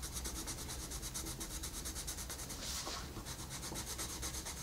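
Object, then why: Colored pencil on a paper coloring page. A colored pencil tip makes short rubbing strokes on a flat paper coloring book page, producing a steady, rhythmic series of bright, scratchy swipes over a low background rumble. Near the middle, one stroke gives a broader, hissier brush.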